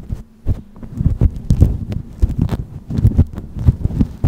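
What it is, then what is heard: Faux fur microphone windscreen being scratched. Long nails pinch, pick and scratch a grey synthetic-fur windscreen on a black microphone at close range. The sound is a dense run of soft, muffled, low thumps and rustles, almost all energy in the low range with a faint hum. It comes across as a throbbing, heartbeat-like pulsing with brief crackly edges.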